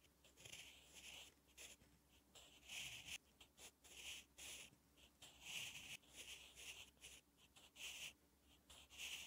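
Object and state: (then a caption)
Pencil writing on a paper notebook page. A sharpened wooden graphite pencil writes Korean letters across a thin lined page of a spiral notebook lying flat. The clip is a run of quiet, bright, papery scratching strokes in short bursts with brief pauses, mostly high-pitched hiss with almost no low end.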